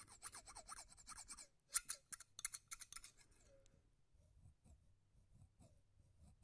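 A large pair of steel-bladed scissors with red handles is held right in front of the microphone while the blades are slowly opened and closed, so they snip and rasp against each other. A run of bright, crisp snips and scraping rasps fills the first three seconds, followed by quieter, softer shifting sounds.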